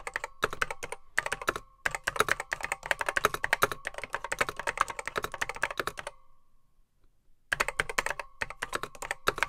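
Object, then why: Plastic mechanical computer keyboard. Fingertips type on a beige plastic Apple M0110B vintage computer keyboard with grey plastic keycaps, its hollow case holding mechanical switches. Rapid, bright, clacky keystrokes come in bursts with a faint hollow ring. Typing pauses for about a second and a half near the end, then resumes.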